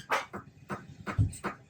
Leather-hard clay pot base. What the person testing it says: when I flick it, that sound, tick, tick, tick, tick, tick, that noise means it's really solid